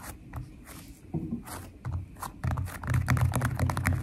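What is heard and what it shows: Long nails tap and scratch across the surface of a flat purple glitter slime filled with foam beads. The result is a run of soft, low, crackly taps and scrapes that grows denser and louder toward the end.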